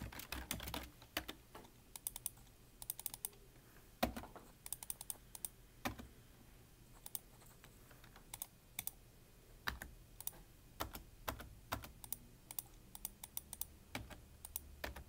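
Fingertips, mostly of the right hand, type on the keys of a full-size black plastic computer keyboard with a hollow body. Quick, sharp clicks come in uneven bursts separated by short pauses, each keystroke a bright tap over a dull low thud that dies away almost instantly.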